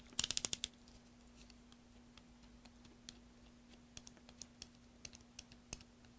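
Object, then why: Bar of soap carved with a small metal tool. A small metal carving tool scrapes and cuts a solid green soap bar held upright over a tray of shavings, using repeated short strokes. A quick burst of six crisp, bright cuts opens the clip, followed by sparser, irregular scrapes and clicks. Each stroke stops dead, heard over a faint steady low hum.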